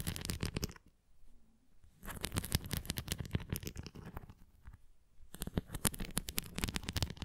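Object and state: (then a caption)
Plastic ring toy with nubbed surface scratched by fingernails. Long nails scratch the nubbed surface of a red plastic flying ring toy with a nubbed cross, producing dense bursts of crackly, rapid scraping and tapping. The bursts are broad from deep low thumps up to bright highs, and they come in three stretches separated by near-silent pauses.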